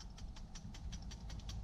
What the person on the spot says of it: the old shake test. I can hear the float moving.